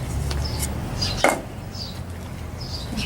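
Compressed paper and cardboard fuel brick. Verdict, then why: Dry. A fully dried biomass fuel brick made of compressed paper and cardboard is knocked or dropped, giving a sharp, hard, wood-like knock with a very short ring. The dry, solid sound confirms the brick is thoroughly dried, over a low background rumble and faint high chirps.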